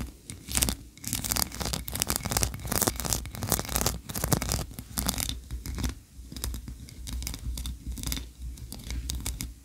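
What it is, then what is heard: Wax candle scratched with nails. Long nails scratch quickly across the ridges of a solid white ribbed wax tree-shaped candle. Dense bursts of dry, rasping scratches come in uneven rapid strokes, bright and hissy up high over a steady low hum.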